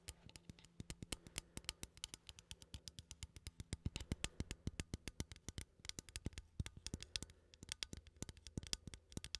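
A small cylindrical metal coffee tin, held in one hand, has its lid and side tapped and scratched with fingernails. About 65 quick, bright, dry clicks follow one another in a steady irregular patter, each dying away almost instantly over a faint low hum and soft scratching.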